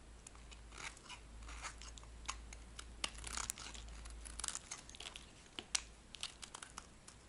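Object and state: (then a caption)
Dry soap bar. A metal blade scrapes and carves a dry, magenta-pink solid soap bar held in a dusty palm. Crisp, crunchy scraping and crumbly tearing textures play over a steady hiss, punctuated by sharp, bright clicks and crackles. A faint low hum runs underneath throughout.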